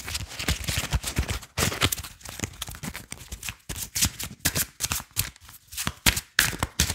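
A small deck of paper and cardboard playing cards is fanned and shuffled between the fingers while fingertips and nails tap and flick the card edges. The result is a fast, uneven stream of crisp, bright snaps and papery riffles, with some soft low thumps and brief gaps between bursts.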